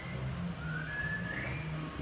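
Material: Nothing is struck.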